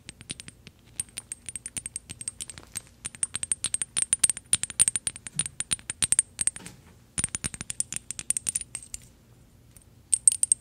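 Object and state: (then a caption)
Small metal decorative bottle. A small gold metal decorative bottle, held in the hand, is tapped rapidly with paperclip fake nails. It makes bursts of quick, bright metallic clicks with a faint high ring that stops almost at once, broken by short pauses.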